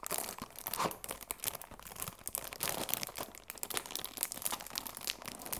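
The cellophane wrap on a cardboard tea box is pressed and crinkled with fingertips and long nails. A steady stream of crisp, bright crackles and sharp little clicks fills the clip, with almost no low end.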